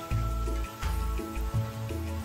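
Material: Nothing is struck.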